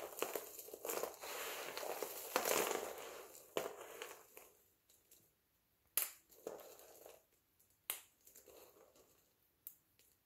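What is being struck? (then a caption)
Soap flakes. A pile of multicolored dry soap flakes is pressed flat with the palms and crumbled between the fingertips. Dense, dry crunching and crinkling fills the first few seconds, then gives way to sharp, separate crackling crushes with brief quiet gaps between them.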